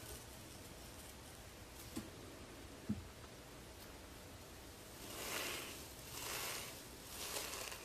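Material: Nothing is struck.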